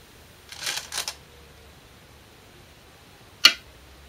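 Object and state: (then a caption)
Glass go stone placed on a shinkaya wood board. A Korean size 36 (10.2 mm) glass go stone is placed normally, not slammed, on a 2-inch shinkaya wood floor go board while a professional game is replayed. A couple of soft, bright rustling bursts come first, then a single sharp, bright click that dies away almost at once.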